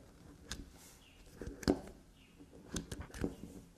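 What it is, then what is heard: Black soap bar. Long nails scratch and scrape grooves into the face of a small, solid black soap bar held upright on a table. Six short, crisp scraping strikes stand out over a quiet, faint rustle of softer scratching, with the sharpest one near the middle.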